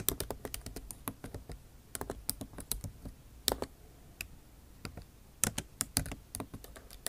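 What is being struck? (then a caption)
Laptop keyboard with plastic keys in a metal body. Long nail tips type on a backlit MacBook Pro keyboard with plastic keycaps set in an aluminum body. The result is a fast, uneven run of sharp, bright clicks and taps, each cutting off almost instantly. Soft patter sits between the louder strikes.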